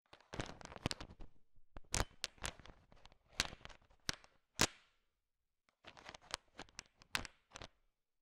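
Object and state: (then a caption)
Candy-coated chocolates clicking together. A large pile of small, solid, sugar-shell-coated chocolate M&Ms is stirred with a thin wooden stick. The candies click and rattle against each other in dense, bright bursts, with a short pause after about five seconds before the stirring resumes.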